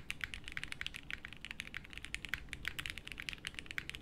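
Fingertips from both hands type continuously on a plateless 60% mechanical keyboard with beige doubleshot plastic keycaps in a light case, resting on a felt desk mat. Around 30 quick keystrokes make short, bright clacks centered near 2 kHz that die away almost instantly, over a soft low rumble, in a steady, even typing rhythm.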